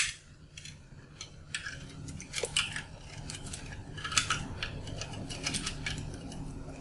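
A metal blade cuts and scrapes a solid, dried, colorful soap bar with a yellow inside held in the hand, breaking off crunchy chunks onto a pile of shavings. A steady run of dry, bright crackles and crisp snaps sits over a soft low rumble, with sharper crunches standing out partway through. Each snap is very short, with almost no ring.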